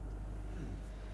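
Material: Nothing is struck.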